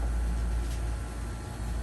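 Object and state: Nothing is struck.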